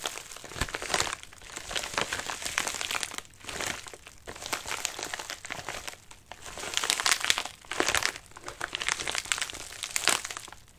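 Fingertips and nails scratch and rub the crinkly outer layer of a medium white padded mailer with a wrinkled surface, lying on a lap. The result is dense, bright crinkling and crackling in rolling bursts that swell and fade, with almost no low end.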